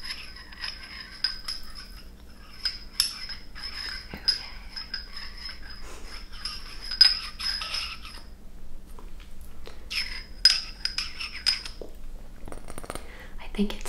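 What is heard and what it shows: A small frosted glass stopper is moved and clinked in the frosted neck of a glass bottle. Bright, high clinks ring briefly at an irregular pace, with soft gritty scraping between them.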